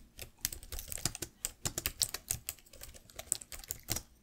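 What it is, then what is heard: Plastic laptop keyboard. Fingertips and long nails type continuously on the plastic keys of a black laptop keyboard. About 21 quick, bright clicks and taps come in an uneven rhythm, each cut off almost at once with a soft low thump beneath.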